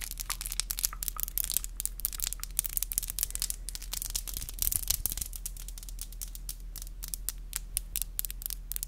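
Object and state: Acrylic nails tapping.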